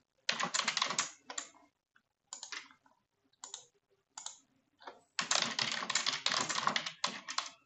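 A full-size dark plastic computer keyboard is typed on with both hands using long nails and fingertips. Rapid, bright key taps come in irregular bursts separated by short pauses, with a dense run of typing near the end.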